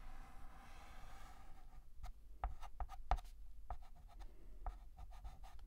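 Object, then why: Chalk on a painted blackboard. A hand draws the lines of the letter R with a stick of white chalk on a large, flat, black painted blackboard. A soft, faint scratching rub gives way to a series of short, crisp chalk ticks and scrapes, all quiet and dry with almost no ring.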